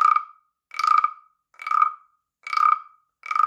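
A palm-sized, hollow, carved wooden BSIRI frog rasp (guiro) is held in one hand while the other scrapes a wooden stick along its ridged back. Five separate croaking rasps sound at a steady pace, each a ratchety burst centred near 1.2 kHz with a brighter overtone above it. Each burst is followed by a short silence.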